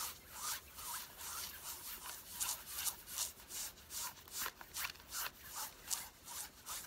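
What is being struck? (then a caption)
Worn denim jeans fabric. Long fingernails of both hands scratch worn light-blue stretch denim jeans on the thighs, the soft fabric lying over the body. Quiet, bright, hissy scratching strokes repeat at about two to three per second in a loose, uneven rhythm, each brief and dry with almost no low end.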